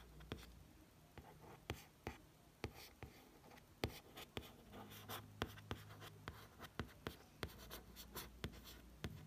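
Light fingertip taps and soft scratchy traces on a glossy hardcover book, dry and short, over a low hum.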